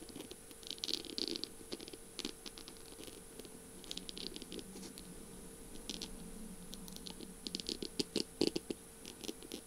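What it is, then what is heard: Beaded, mirror-tiled pen tapped and scratched with nails. Long purple nails rapidly tap and scratch the slim barrel of a feather pen covered in beads and mirror tiles. The result is quick, crisp clicks and bright scratchy bursts with almost no ring, over a faint steady hum and a high constant tone, growing louder and sharper toward the end.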